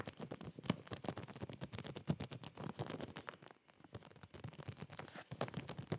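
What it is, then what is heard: Plastic zip bag with folded cloth inside. Fingertips and nails scratch and tap a clear plastic zip bag filled with folded boxers, held in both hands. The result is a quiet, dense stream of soft crinkling scratches and short dull taps, weighted toward the low end, with a brief lull in the middle before the tapping picks back up.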